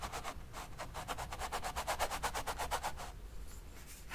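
A flat paint brush rubs wet oil paint back and forth along the edge between the red and black areas of a long rectangular stretched canvas lying on a table. About thirteen quick, soft, brushy swishes come in a fairly steady rhythm with a mid-pitched rasp and bright bristle hiss. They stop after about three seconds, leaving a quiet, low background hum.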